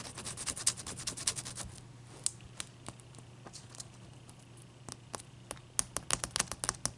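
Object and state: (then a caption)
Large ice cube tapped with nails. A large, clear, solid ice cube resting on a towel is shifted around and then tapped with long nails. The first two seconds are a dense run of bright, scratchy clicks. Sparse, sharp, dry taps follow, and a quicker burst of crisp ticks closes the clip over a faint low hum.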